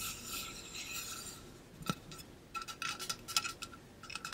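Fingertips and nails rub and tap the side of a tall, hollow stainless steel water bottle with a pink-blue ombre coating and a metal cap, held in both hands. A soft, bright rasping rub fills the first second and a half, then a sharp tap lands, followed by a quick string of light metallic taps and clicks carrying a faint ring around 1.3 kHz.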